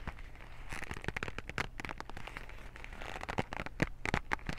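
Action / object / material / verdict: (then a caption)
scrape / small cardboard box / cardboard / none. Fingertips and nails grip, squeeze and scratch a white cardboard cotton swab box, making a dense run of quick dry crackles, taps and scrapes. The short snaps come sharp and close together over a steady low background rumble, with a few brighter, louder clicks toward the end.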